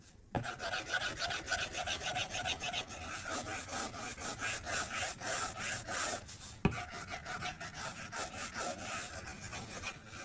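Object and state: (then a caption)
Stylus scribbling on a glass tablet screen. A plastic stylus tip scribbles repeatedly across the flat glass screen of an iPad tablet, making a steady run of rasping scratches on the glass. The strokes come in quick, uneven bursts with a bright, hissy edge, and two sharp taps stand out, one near the start and one partway through.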